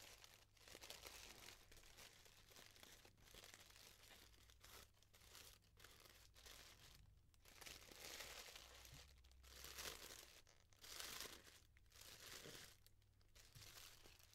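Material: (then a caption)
Tissue paper. A hand-sized yellow tissue paper flower has its thin layers fluffed and crumpled with fingers and nails. This makes soft, bright, continuous crinkling and rustling that swells and fades in waves, with a steady low hum underneath.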